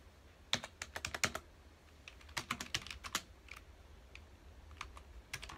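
Fingertips of both hands type on a full-size black plastic computer keyboard with a hollow key housing, resting on a dark desk. Short, bright, clicky key taps come in quick bursts separated by brief pauses, each tap dying away almost instantly over a faint low hum.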